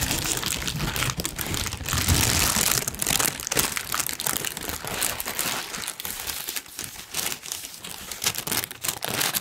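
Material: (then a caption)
Paper. A large, thin, wrinkled pink tissue paper sheet is held up and crinkled with the fingers of both hands. It makes a dense, continuous, bright crinkling and rustling with irregular crackly bursts and a faint low rumble underneath.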